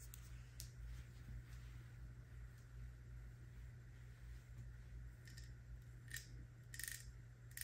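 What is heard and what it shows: A medium plastic body-butter jar with a paper label and a gold screw lid, apparently full, is held in the hand and tapped and scratched with long brown nails. Quiet, irregular taps and soft scratches give short, bright clicks with a brief ring, growing louder near the end. A steady low hum runs underneath throughout.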